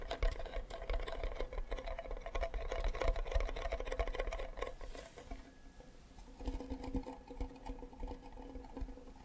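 Fingertips tap and scratch the back of a hollow wooden ukulele with a flower sticker, making a quick, uneven flurry of soft, low, thuddy taps over about the first five seconds. The sound then fades to a quieter scratching, and a faint, steady resonant tone rises from the hollow body as it ends tilted sideways.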